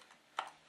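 A fully loaded pistol in a custom Kydex plastic holster is held upside down and shaken, giving one short, light plastic rattle. The gun stays put in the holster, showing tight retention.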